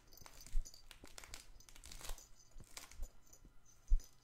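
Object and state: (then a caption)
Stuffed fabric toy ball. Fingers scratch and squeeze a stuffed, soft fabric patchwork plush ball held close to the microphone. The result is a steady run of quiet crinkling and rustling with bright edges, broken by two louder, deep thumps.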